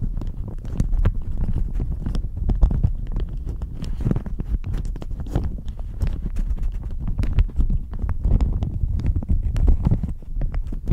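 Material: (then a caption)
Plastic. A thin, crinkly, pink-flowered plastic shower cap is held up in both hands and crumpled and squeezed with medium-nailed fingertips. The result is a steady, dense stream of soft crinkling and quick crackles, with a muffled low rumble underneath and faint bright snaps.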